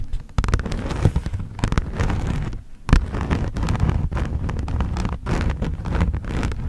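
A thin red Mead plastic folder is flexed between both hands while long nails scratch and tap its textured face. It gives a dense run of crackling pops and crinkly scrapes, heavy in low thumps, with sharp snaps standing out around one and three seconds.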